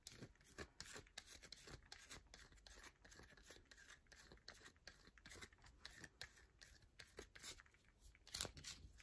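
Long nails scratch and scrape the face of a solid yellow bar of soap held in the palm, leaving loose shavings on a mat. A dense run of quick, bright, crunchy scrapes and taps is heard, with short, dry hits that die away almost instantly.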